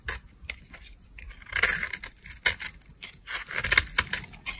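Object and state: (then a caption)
Dry bar soap being carved. A solid beige bar of dry soap, held in a long-nailed hand, is scraped and carved with a utility knife blade. The clip is full of crisp, bright scratchy strokes and brittle crackling with short clinking flecks as soap shavings break away. The strokes come in uneven bursts over a quiet background.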